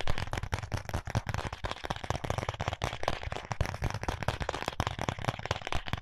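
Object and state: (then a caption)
Cardboard box tapped and scratched. Fingertips and nails tap and scratch the surface of a small, flat, white printed cardboard box of contact lenses held in both hands. The result is a rapid, continuous stream of dry, papery taps and scrapes that end almost instantly, with a dull low thump under most of them.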